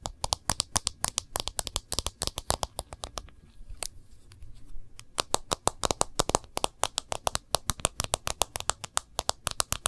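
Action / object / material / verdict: tap / smartphone with glass screen in a thin plastic case / glass, plastic / none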